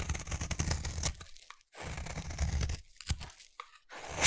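A utility knife blade scrapes along the edge of a hand-held, solid rectangular cream bar soap. Dense, crunchy shaving strokes with a low, grainy rumble come in runs separated by brief silences. Sharp, bright ticks sound as the blade catches and lifts off.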